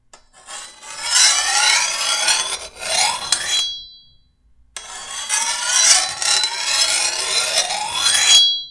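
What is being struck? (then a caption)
Steel machete blade. A metal file is drawn along the edge of a long, thin steel machete blade held level, with fingertips guiding it as the blade is sharpened. Two long, bright rasping strokes are heard, separated by a brief pause. The filing sound is dominated by high scraping tones with almost no low end.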